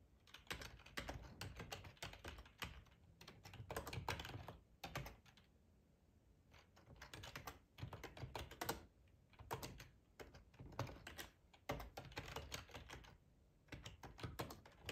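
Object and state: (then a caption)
Plastic computer keyboard being typed on. Fingertips with short nails type on a hollow black plastic ergonomic split keyboard resting on a plaid tablecloth. Quiet bursts of rapid clicking keystrokes with a low thud under each press are broken by short pauses, including one near the middle and one near the end.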